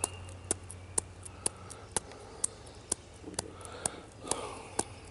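Fingertips of a hand with short nails tap and scratch the rough, furrowed bark of a solid tree trunk. Eleven sharp, dry taps land at a steady pace of about two per second, each with a bright, high click that dies away almost instantly. Between the taps, soft scratching rustles over a low background hum.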